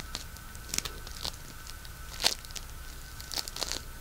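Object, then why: Polystyrene bead floam. A palm-sized solid lump of pink polystyrene bead floam is kneaded, pulled apart and crunched with fingertips and thumbs. It gives sparse, irregular bright crackles and short tearing crunches, with the loudest burst near the middle. A faint steady tone sits underneath.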